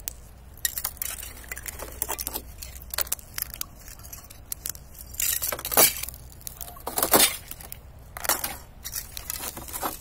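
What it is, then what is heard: Thin ice sheet cracking. A knit-gloved hand presses and knocks on a thin, clear, hollow-backed sheet of ice lying over dry grass outdoors, cracking it into large glass-like pieces. Bright, glassy clinks and crackles sound out in irregular bursts, with a few louder sharp snaps toward the middle.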